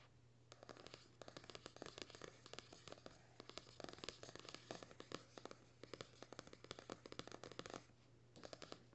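Fingernails tap and scratch a paperback's card cover in quick, dry, papery clicks that stop dead.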